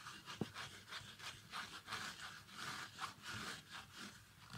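Fingertips rub and scratch the fabric insole and the upper of an empty, small, shiny metallic synthetic ballet flat slipper. The result is a quiet, breathy rhythm of rasping, hissy scratches with bright high-frequency grit and a brief sharp tick near the start.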